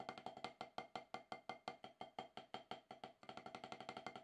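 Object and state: Rubber drum practice pad.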